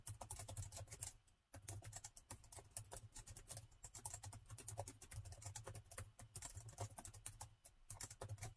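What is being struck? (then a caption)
Plastic laptop keyboard. Fast fingertip typing with both hands on a plastic laptop keyboard produces a dense stream of short, bright key taps. The typing stops briefly after about a second, then carries on over a steady low hum.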